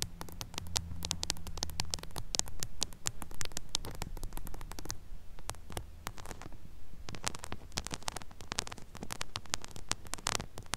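Long acrylic nails tap and scratch directly on the silver metal mesh grille of a small pink mini microphone with a hollow head. The sound is a dense run of sharp, crackly clicks and scrapes over a steady low hum. It pauses briefly near the middle, then picks up again.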